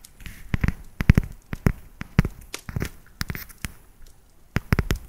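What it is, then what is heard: Dark chocolate bar. Long nails tap along the ridges of a solid, segmented dark chocolate bar, giving a quick, uneven series of short, dry clicks. Each tap has a dull low thump and a faint bright tick, and dies away almost instantly against a quiet background.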